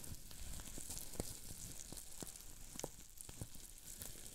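Fingertips squeeze and twist a sheet of green plastic bubble wrap with small air bubbles. Rapid, sharp pops crackle over a steady bright hiss, each snap very brief and dry, at a fairly quiet level.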